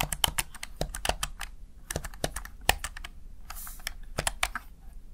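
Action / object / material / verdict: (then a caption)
tap / plastic gaming keypad keys / plastic / none. Fingertips tap the keys of a Razer Tartarus Chroma plastic backlit gaming keypad in an irregular run of quick, crisp clicks. Each keystroke is dry and dies away almost instantly, with a bright attack over a soft low thump, and a brief high hiss partway through.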